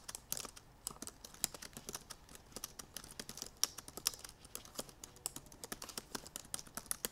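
Both hands with long painted nails type rapidly on the black plastic keys of a silver aluminum MacBook Pro laptop keyboard. About 43 quick, bright, clicky keystrokes tap in an uneven stream, each dying away almost instantly, with very little low-end.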